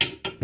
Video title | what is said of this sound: Nos Accessoires: Quatree, FastBolt, Gear Hanger, adhésif anti-dérapant, organisateur d'équipement | si vous avez que des steps en métal elles vont faire du bruit